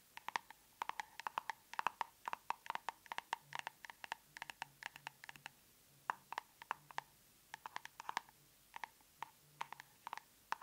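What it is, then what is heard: Plastic cosmetic tub. Long nails tap on the lid of a large round plastic tub of aloe soothing gel. Dozens of crisp, dry clicks come in quick irregular bursts, each with a hollow tone near 950 Hz and a bright edge. Every tap dies almost instantly against a quiet background.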